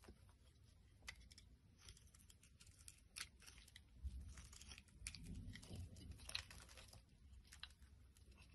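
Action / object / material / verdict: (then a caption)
scrape / glycerin soap bar scraped with a knife blade / glycerin soap / none. A utility knife blade scrapes shavings off the surface of a solid translucent pink glycerin soap bar held in the hand. It makes a quiet run of quick, irregular, crackly scraping strokes with bright, crisp edges over a soft low rumble.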